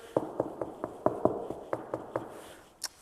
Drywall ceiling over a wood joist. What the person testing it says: doing the knock test it feels like or sounds like the first ceiling joist is here